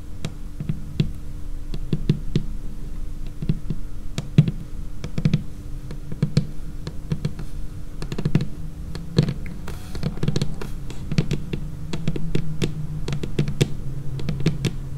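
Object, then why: Laminated wooden tabletop. Long painted fingernails tap and drum across a large, flat, solid, dark laminated wooden tabletop. The result is a steady, irregular run of quick, crisp clicks, each with a short, dull, low thump that dies away almost instantly. It is interspersed with faint high scratchy ticks and occasional denser flurries of drumming.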